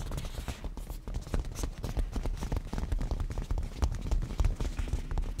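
Fingernail tips of both hands rapidly tap a padded black cushion with a grained leather surface. The result is a fast, irregular patter of short, dull taps with a deep, soft low end and faint crisp clicks that die away almost instantly.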